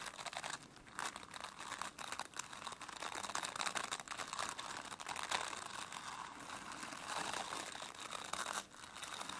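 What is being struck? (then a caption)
Plastic bristle brush. Long nails scratch over the dense, flexible plastic bristles of a plastic brush. The result is a steady, crackling, crinkly scratching with a bright, hissy tone and almost no low end, with brief dips in the texture as the strokes shift.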